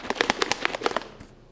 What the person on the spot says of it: There's a steely in there, so you can shake it up.